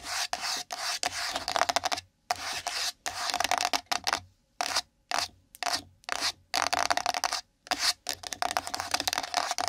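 A small, empty, hollow pink printed cardboard gift box resting on the microphone is scratched and rubbed with long nails. Bursts of dry, rasping scratches with a hollow midrange tone and bright hiss start and stop abruptly, separated by short silences.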